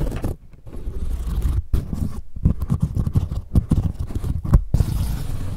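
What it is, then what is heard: Woven straw sun hat. Fingers scratch and rub along the brim of a wide-brim woven straw sun hat held in both hands. The result is a dense, dry, low, muffled scratching and rustling in quick irregular bursts, broken by a few brief pauses.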